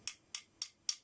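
Four light taps on an original plastic sofa caster wheel give short, bright, high-pitched clicks that die away almost at once, with no low end. The wheel sounds hollow compared with the harder new 100%-infill replacement wheel.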